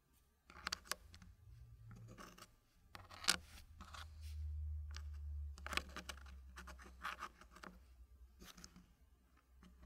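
Fingertips slide, scratch and tap small solid wooden puzzle blocks while fitting them into a green wooden tray. Quiet dry scraping and rubbing is broken by short bright clicks and taps, with a steady low hum underneath.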